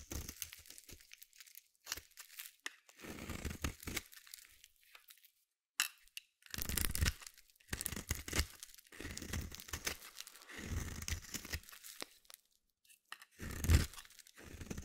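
A small metal blade scrapes and shaves curls off the corner of a palm-sized solid white bar of soap. Short bursts of dry, crisp scraping and crumbly tearing come and go with brief silences between strokes, each carrying a soft low rumble under a bright, papery rasp.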